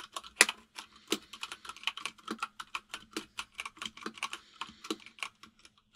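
Fingertips of both hands type on a full-size plastic mechanical keyboard with white and grey plastic keycaps. The result is a brisk, uneven run of short, bright, clicky keystrokes with almost no ring and one louder clack near the start, plus a faint steady low hum underneath.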